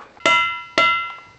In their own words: The rocks in this unique geologic area chime when tapped lightly with a hammer.